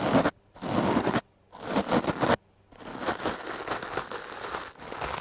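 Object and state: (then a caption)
Foam microphone windscreen brushed with a stiff brush. A stiff-bristle wooden clothes brush is swept over a foam microphone windscreen, making close, crunchy brushing and scratching strokes. Three short bursts are separated by near-silent gaps, then a longer, steadier stretch of scrubbing fills the rest of the clip.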